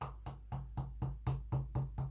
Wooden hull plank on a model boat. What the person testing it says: you can hear it's hollow because he's still moving